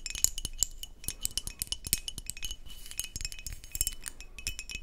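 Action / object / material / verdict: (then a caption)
tap / glass beer bottle with metal cap and paper label / glass / none. Long nails tap and scratch the neck, metal cap and paper label of a brown glass beer bottle. Quick, bright clicking taps come in a dense, uneven stream, with short glassy rings and a soft scratchy rustle between them.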